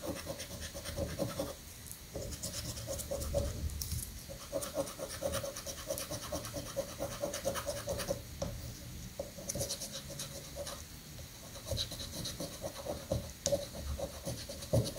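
A coin held in the fingertips scratches the latex coating off a thin card-paper lottery scratch-off ticket lying flat on a granite countertop, held down by one hand. The scratching runs continuously in gritty, bright rasping strokes over a low rumbling background, with a steady faint tone near 550 Hz underneath.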